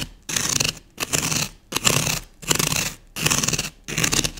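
A thin wooden skewer quickly scratches and scores grooves into the face of a solid green floral foam block held in one hand. Six dry, bright, raspy scraping bursts follow one another with short silent gaps between them.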